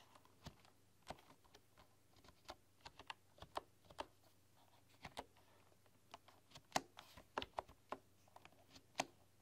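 Fingertips and long, dark-polished nails tap and type on a full-size bamboo computer keyboard with wooden keys. About nineteen short, crisp clicks with a bright edge come at an uneven pace, each dying away almost instantly over a faint low hum.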